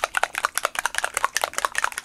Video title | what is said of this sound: Scrap Time - Ep. 693 - Out of Print Collection by Basic Grey | this one has a little ball in it so you shake it